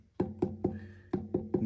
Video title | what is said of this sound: 굽깍기연습 | 소리가 약간 둔탁한 소리가 나잖아요